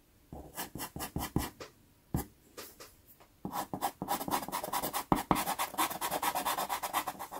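A natural wood pastel pencil is rubbed and scratched in shading strokes over a small taped sheet of sanded pastel card (Pastelmat). Short, gritty, papery strokes start out spaced apart, then turn into a fast, dense run of bright scratching in the second half.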